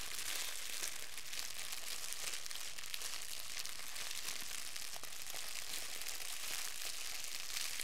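A wad of clear plastic wrap, held in both hands, is crinkled and squeezed with the fingers. It makes a steady, dense crackling, with bright, hissy crinkles layered over a faint low rumble. The level stays even throughout the clip.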